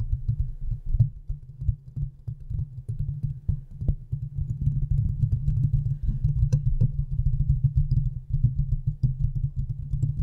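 A large condenser microphone's hollow metal mesh grille is scratched quickly with the long nails of both hands. The result is a dense, throbbing low rumble with rapid, irregular scraping pulses and faint higher ticks.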